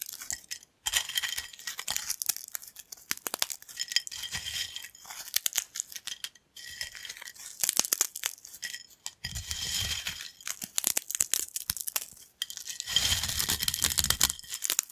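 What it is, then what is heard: Thin corn chips being crushed. Thin, dry yellow corn chip pieces on a black plate are crushed between fingertips. Dense, bright crackling and crunching comes in bursts separated by brief silences, with some soft low rumble during the heavier crushes.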